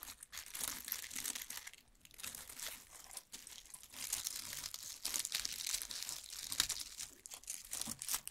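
Fingertips pick at, rub and crumple a large loose bundle of dried lemon balm stems and brittle leaves lying on a wooden table. Crisp, bright crinkling and crunching rustles run continuously with only brief pauses, with almost no low end.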